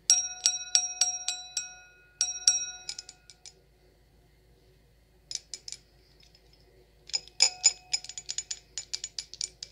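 An empty, clear stemmed wine glass with a thin hollow bowl is tapped with long acrylic nails. It gives quick, bright clinks that ring out in a clear high tone with evenly spaced overtones. The taps come in fast bursts, with a quiet pause in the middle, then a denser run of tapping at the end.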